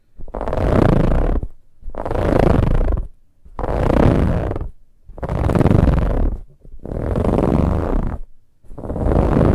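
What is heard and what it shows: Fingertips and long nails scratch the sides and surface of a large, soft, dark brown pillow with a ribbed, textured fabric cover. Six long, rough scratching passes are heard, each a dense, rumbling rasp with a fuzzy bright top. Short near-silent gaps separate the passes in a steady rhythm.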